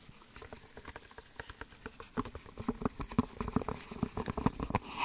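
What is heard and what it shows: A small, empty, open-ended white cardboard soap box sleeve, hollow, is held up in gloved hands and tapped or scratched with the fingertips. A rapid, uneven patter of soft, dry taps is heard, each with a short hollow papery knock around 250 Hz and almost no ring. The taps grow louder and denser toward the end, with a faint bright scratchy hiss.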